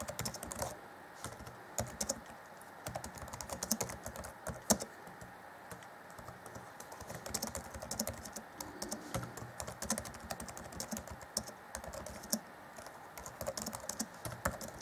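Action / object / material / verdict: tap / plastic laptop keyboard / plastic / none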